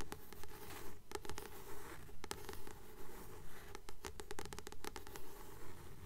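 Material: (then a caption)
Paper card. Long nails tap and scratch the glossy card cover of a solid blue paperback book held in both hands. Quick, fairly regular taps mix with soft scratching strokes over a steady low hum. The clicks are short and dry, with no ring.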